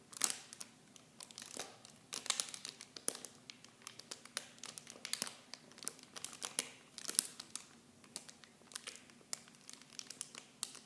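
Clear plastic film packaging is held in the hand and crinkled with fingertips and nails. The result is a quiet, continuous run of sharp, bright crackles and snaps with almost no low end, each one dying away instantly.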